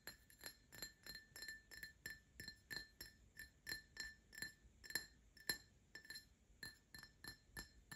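An empty Paladone Mario Kart printed glass tumbler is tapped with short fingernails while it is rotated. About 28 quick, separate clinks sound at an uneven rhythm, each with a bright, high glassy ping that dies away almost at once. The taps are quiet, with little low end beneath them.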